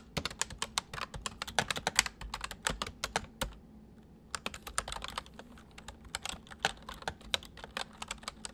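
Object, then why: Plastic mechanical keyboard. Fingertips from both hands type on a full-size white plastic mechanical keyboard with white keycaps resting on a wooden desk. The result is a fast, uneven run of short, bright clicks over a low background hum, with a brief pause at around four seconds before the typing resumes.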